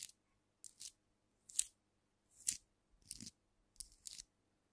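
Long nails tap and scratch a filled glass cognac bottle held tilted, mostly on its black-capsuled neck and cap end, so part of the sound may come from the capsule rather than the glass. Short, dry, bright bursts of clicking and scratchy crunching come in irregular clusters. There is almost no ring and very little low end.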